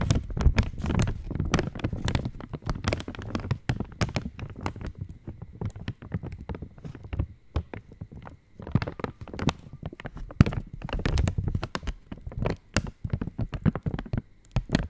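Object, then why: Foil-lined plastic chocolate wrapper. An opened purple Cadbury chocolate wrapper made of foil-lined plastic is held in the hand and tapped with long nails. The result is a dense, steady run of quick, dull crinkly taps and rustles, mostly low and thumpy with brief bright ticks. The tapping continues with small swells and dips in loudness throughout.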